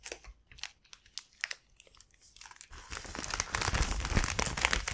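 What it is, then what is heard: Soft plastic bag crinkled. An empty, thin, soft mint-green plastic (vinyl) gift bag with a white flower print is held and opened with both hands and fingertips, its film flexed and crinkled. Sparse, sharp crinkles with quiet gaps come first, then build into denser, louder, continuous bright crinkling.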